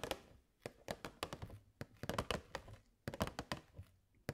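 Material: Plastic.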